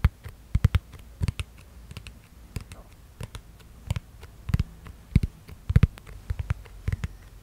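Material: Plastic.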